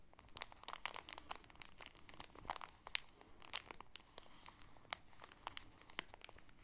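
A folded polka-dot shower curtain in a clear plastic bag with a grommet header is handled: fingernails pinch and crinkle the plastic at the top, then both hands squeeze the package. Dense, bright crackling and crinkling fills the clip, with many sharp, quickly fading snaps over a quiet background.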